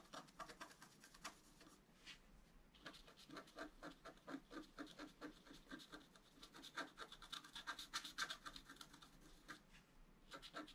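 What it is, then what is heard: Scratch art card being scratched. A wooden stylus scratches a flat black-coated scratch art card lying on a table, working near a deer's muzzle while the left hand steadies the sheet. Quick, dry, bright scratching strokes repeat about four times per second in an uneven rhythm, with no ring after each one. The strokes pause briefly around two seconds and again near the end.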